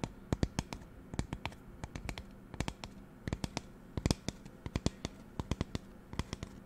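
Fingernails tap and scratch a magenta plastic spray bottle held close to the mic. Around thirty sharp, dry clicks with a low, hollow body come in uneven bursts, each dying away almost instantly, with faint scratching and a steady low hum between them.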